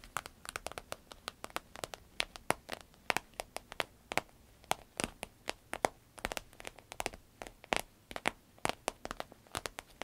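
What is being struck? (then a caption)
Vinyl-coated fabric purse. Long red nails scratch and tap the glossy vinyl flap of a soft, hollow green paisley purse made of vinyl-coated fabric. A rapid, irregular series of sharp, bright clicks and crisp scratches sounds over a faint background, each tap dying away almost instantly.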